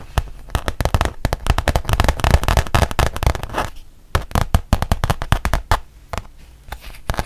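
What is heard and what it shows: A thin, solid, printed rubber-backed fabric mouse pad is held up and tapped and scratched on its front with long painted nails. Rapid, uneven taps and crackly scratches come in a dense flurry for the first few seconds, then thin out into sparser, separate taps. Each tap has a soft low thump and a short, dry, bright click with almost no ring.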